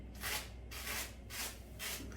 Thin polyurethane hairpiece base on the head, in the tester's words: that sounds like plastic a plastic bag that is because I have not shaved underneath the hairpiece